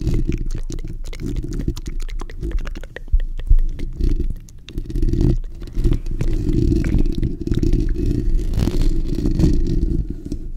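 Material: Steel mesh.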